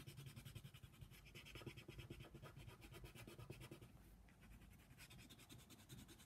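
A yellow colored pencil tip is scratched across a flat paper coloring book page in fast shading strokes, coloring a giraffe. The result is a quiet, steady, rapid, rhythmic scratching with a bright, papery hiss over a soft low rumble from the pencil pressing on the page.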